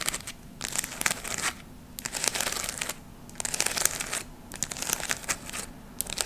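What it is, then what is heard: Glitter fabric leaf ornament. A round ornament of glittery gold, red and brown artificial leaves is held close to the mic and scratched and squeezed with long nails. Repeated bursts of bright, dry crinkling and scratching come in waves, separated by short, quieter pauses, with almost no low end.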